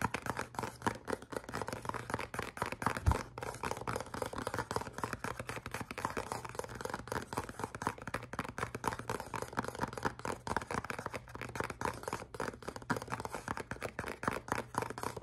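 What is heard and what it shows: A small, hollow, black printed cardboard perfume box is held in both hands and scratched and tapped with the fingernails for about 15 seconds. Dense, quick, dry scratching and tapping keeps going throughout, with a hollow papery texture and almost no ring. A faint steady low hum sits underneath.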